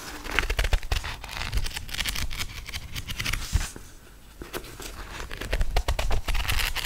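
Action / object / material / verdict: flick / paperback book paper pages / paper / none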